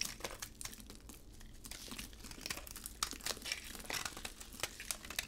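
A utility blade carves chunks off a solid, dry, hard bar of red embossed soap with a white interior, held in a gloved hand. Quiet, bright crinkling crunches and crisp scraping snaps come in a rapid, uneven stream, each one short and dry with almost no ring.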